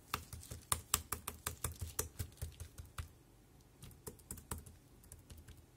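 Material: Plastic.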